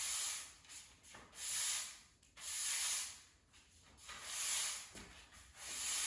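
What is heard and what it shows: A blue-and-black plastic push broom sweeps a small dust pile across a bare grey cement floor. Its bristles rub and scrape the surface in four bright, hissing strokes that swell and fade, with quieter scratchy pauses between them.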